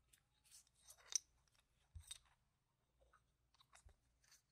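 A few yellow-rimmed solid plastic game tokens are held in one hand and riffled and clicked between the fingers and nails. Repeated short, sharp chip-on-chip clicks and light rattles come in quiet, bright bursts with almost no low end, each dying away almost instantly.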